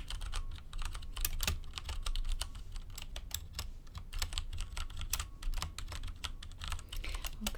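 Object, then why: Mechanical computer keyboard with plastic keycaps. Both hands, with long red nails, type quickly by fingertip on a full-size mechanical computer keyboard with a black case and beige, grey and orange plastic keycaps. A dense run of sharp, bright plastic key clicks and clacks continues for about seven and a half seconds over a steady low hum.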